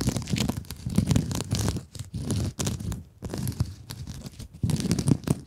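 Long nails scratch and rub the surface of a blue glittery mesh scrub sponge held in both hands. The result is dense, crinkly, rasping scratching with a heavy low rumble underneath, coming in uneven bursts separated by brief near-silent pauses.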